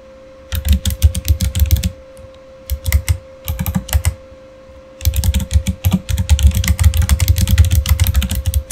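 Both hands type with their fingertips on a Razer Fire backlit plastic mechanical keyboard with plastic keycaps. Quick bursts of deep, thumpy keystrokes with bright clicky edges are separated by short pauses. A faint steady hum sits underneath throughout.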